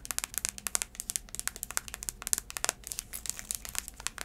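A black braided heeled sandal is held up while long acrylic nails tap and scratch its tan insole and sole. Around 32 quick, sharp, bright clicks come in a rapid irregular stream, each dying away almost instantly over a faint scratchy hiss, with very little low end.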